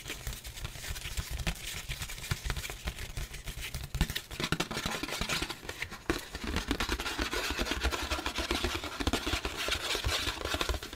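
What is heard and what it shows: A thin, flat white printed disposable paper plate is held up and scratched and tapped with the fingertips. The result is a steady stream of dry, papery scratching and quick tapping with a bright, crackly texture and a soft low rumble underneath.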